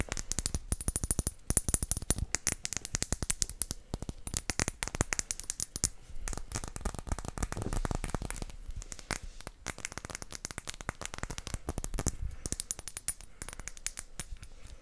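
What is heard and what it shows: A clear, round-bellied glass potion bottle, hollow and empty, is held in both hands and tapped all over with long acrylic nails. For about 15 seconds, rapid, dense streams of short, sharp clicks and taps carry a faint, bright glassy ring that dies away almost instantly.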